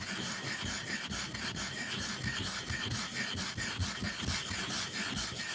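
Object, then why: Ink stick on stone inkstone. A black ink stick is rubbed vigorously back and forth over the wet, flat surface of a dark rectangular stone inkstone. A steady gritty, scraping rasp continues throughout, with bright, high hiss and faint low grinding pulses at a brisk, uneven pace.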